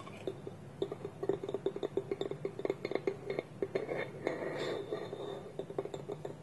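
A small, hollow, polished wooden bowl with its wooden lid held against it by both hands on a table is tapped with nails and fingertips. About thirty quick, dry clicks and hollow knocks sound, each centered on a resonant tone near 390 Hz and dying away almost at once. Around the fourth second the taps blur into a brief denser, rustling stretch before separate taps resume.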